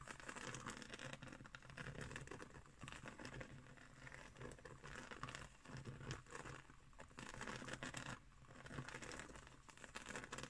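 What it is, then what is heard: Woven straw trivet. Long nails scratch and tap a round, coiled, woven straw trivet lying flat on a table. The result is a dense, continuous rustle of crisp, crinkly scratching with soft dry taps, swelling and easing in waves throughout.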